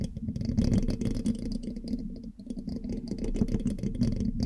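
A thin metal pin held in the fingertips scratches and taps across the hollow black metal mesh grille of a large USB microphone. The result is a dense, low, rumbling stream of rapid scratchy taps and rattles, with faint bright metallic ticks above.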